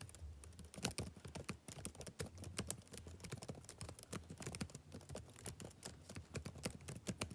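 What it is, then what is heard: Plastic laptop keyboard. Fingertips type rapidly on the plastic keys of a backlit laptop keyboard. A steady stream of quick, soft clicks rises and falls, each tap short and bright with a dull low thud underneath. The level stays quiet throughout.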